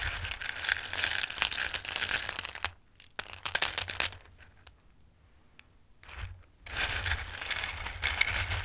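Fingertips with long red nails rummage and shuffle a dark bowl full of small, dry, Christmas-shaped durum pasta pieces in red, green and yellow. Dense, bright, crisp rattling fills the start and end, with a quieter stretch of scattered clicks and soft rustles in the middle.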